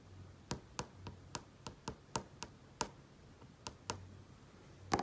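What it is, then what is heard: Flat-screen TV display. Fingertips trace and tap on the surface of a large flat-panel TV screen, producing twelve short, dry, irregularly spaced taps with a bright click and a hollow mid tone around 800 Hz. Each tap dies away almost instantly over a quiet background with a faint low hum.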